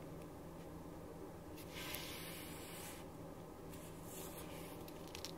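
A ballpoint pen writes on a thin printed paper sheet lying flat on a wooden desk, making soft scratching strokes. Bright, hissy scratching swells in bursts over a quiet, steady low hum that runs through the whole clip.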